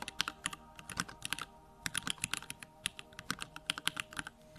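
Fingertips type steadily on a backlit 65% Bakeneko65 mechanical keyboard with plastic keycaps and Durock lavender switches. About 29 short, bright, crisp clacks follow one another in quick, uneven succession, each dying away almost instantly with little low-end weight.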